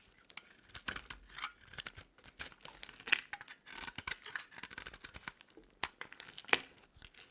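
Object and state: Dry soap bar being shaved.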